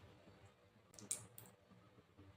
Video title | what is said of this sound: కరకరలాడే పల్లి పట్టి ని పర్ఫెక్ట్ గా ఎలా చేసుకోవాలో చూడండి/tasty and perfect peanut 🥜 chikki#telugu | పాకంని విరిచినప్పుడు అప్పడం విరిచిన sound వస్తుంది